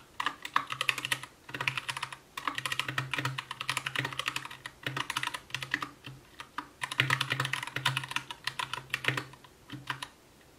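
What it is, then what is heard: Plastic mechanical keyboard. Continuous typing with the fingertips of both hands on an Anne Pro 2 60% mechanical keyboard with white plastic keycaps, a translucent case, RGB backlight and Gateron brown switches. Bursts of quick, bright plastic clacks run together with short pauses between them, each keystroke dying away almost instantly over a faint low thump.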